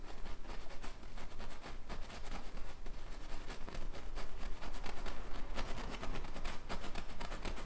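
A thin paintbrush makes short stroking, rubbing and flicking marks on a large stretched-canvas bison painting, its taut fabric held over a frame. The result is a quick, irregular run of soft, scratchy, writing-like brushes with brief bright swishes, set over a steady low hum.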